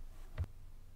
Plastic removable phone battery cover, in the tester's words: because the battery cover is removable there's a bit of a hollow sound when you tap on it that's a little bit different